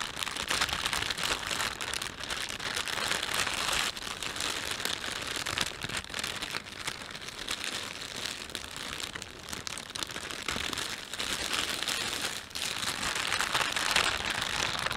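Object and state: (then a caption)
Plastic shopping bag being crinkled. A thin, empty panda-print plastic shopping bag is rubbed and stretched by fingertips. Dense, steady crinkling and crackling fills the whole 15 seconds, bright and mostly in the high range with very little low end, swelling and easing slightly as the film is worked.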